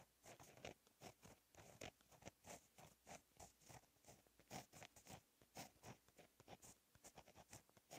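A fine-tip gel pen writes Korean cursive in blue ink on a lined black paper notebook page lying flat on a solid surface. Quiet, continuous pen-tip scratching comes in many short, rapid strokes with bright, papery bursts.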